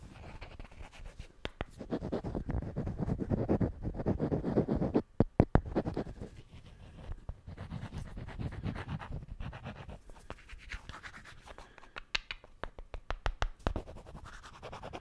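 Two solid wooden cubes are rubbed and scratched together close to the mic, giving a dense, low, grinding scrape broken by sharp woody clicks and taps. The rubbing swells in the first five seconds, pauses for a few crisp knocks, then returns more quietly with bursts of quick, bright ticking toward the end.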